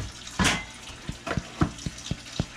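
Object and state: Hollow-sounding baked sourdough loaf (done).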